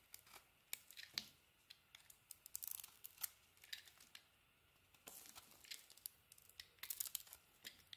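A knife blade carves white shavings from a hand-sized solid bar of soap with a dark green outer layer and a white inside. Quiet, bright, crisp scraping and crackling bursts come in irregular clusters, with sharp little ticks and almost no low end. Each cut dies away almost instantly.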